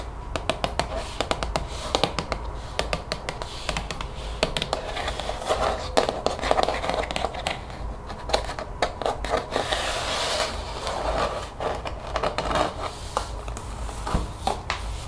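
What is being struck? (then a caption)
Plastic spray bottle with liquid. A translucent plastic spray bottle with a white trigger head, partly filled with liquid, is held in the hand and tapped with long fingernails. Rapid, irregular fingernail taps and clicks with a hollow plastic tone sound over a faint low hum. Each tap dies away almost at once.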